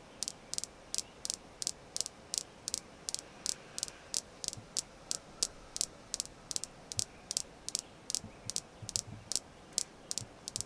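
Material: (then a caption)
Jasper. A red jasper crystal stone is tapped repeatedly, giving 32 short, crisp clicks at a fairly steady pace. Each tap is bright and high, dies away almost instantly, and sits over a soft, faint hiss.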